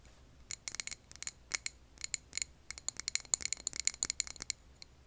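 Long nails tap a clear glass jar filled with green candle wax, making a quick, uneven run of short, bright clicks and tinks. Each tap is dry and dies away almost at once, with high glassy tones and almost no low end.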